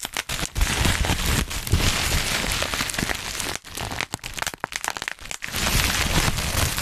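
A sheet of dark black plastic bubble wrap is gathered in both hands right above the microphone while fingertips pinch and pop individual bubbles. Dense, bright crinkling and crackling runs throughout, broken by sharp pops and a low handling rumble. It pauses briefly near the middle and again shortly before the end.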